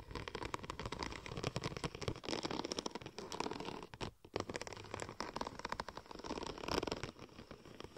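Long gold and red nails scratch and tap along the raised tread of a large sheet of silver checker-plate-pattern vinyl wrap film curved into a hollow cylinder. It makes a dense, continuous run of dry, crackly scratches and quick taps, with a brief lull just past the halfway point before the scratching picks up again.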